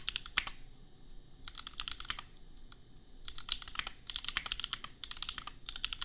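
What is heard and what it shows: Fingertips of both hands type on a $250 custom compact mechanical keyboard with Gateron Milky Yellow switches and red/pink plastic keycaps. Bursts of quick, bright clacking keystrokes with a high, clicky tone come in rapid runs separated by short pauses. Each keystroke is short with almost no ring.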